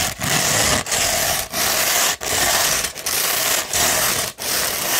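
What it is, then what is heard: 100-grit sandpaper being scratched. Long pointed nails scratch a hollow tube of rolled 100-grit sandpaper. About eight steady, gritty scraping strokes are heard, each a bright rasping hiss separated by brief pauses.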